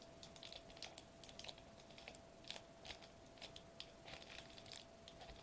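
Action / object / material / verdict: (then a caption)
tap / metallized plastic bubble wrap sheet / foil plastic / none. Fingertips and short nails tap and press a flat silver metallized plastic bubble wrap sheet lying on a white table, possibly crinkling it. Soft, bright, crisp clicks and crackles come in an irregular quick run, each dying away fast, over a quiet background with a faint steady tone running underneath.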